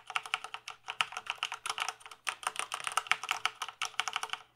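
Fingertips type rapidly on the keys of a full-size plastic gaming keyboard held tilted. The result is a quick, uneven run of short, bright, clicky taps with no low rumble, each tap dying away almost instantly.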